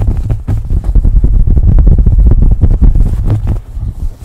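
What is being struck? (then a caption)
Cotton fabric baseball cap. A beige cotton baseball cap is held over a microphone and scratched and rubbed with the nails. The result is a dense, muffled, low rumbling scrape of rapid, uneven strokes with almost no bright content. It eases slightly quieter in the last second.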